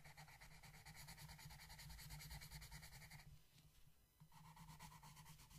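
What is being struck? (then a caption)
Colored pencil on paper page. The tip of a yellow wooden colored pencil rubs and scratches across a flat paper coloring book page on a table while shading. It makes a steady, rapid back-and-forth scratchy hiss with a low papery rumble underneath. The strokes soften briefly past the middle, then pick back up.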